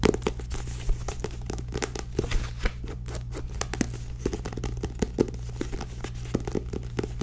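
Long nails tap and scratch the glossy card back cover of a small purple-bordered paperback book held upright, making a rapid, uneven series of dry, crinkly clicks and scrapes. A steady low hum runs underneath the whole time.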